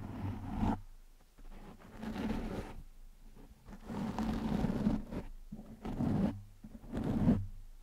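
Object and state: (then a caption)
Foam microphone windscreen being scratched. Fingertips and short nails slowly scratch a black foam windscreen over a microphone. Soft, muffled rustling scrapes come in repeated swells with brief quiet gaps. The sound is heavy in the low end with almost no bright content.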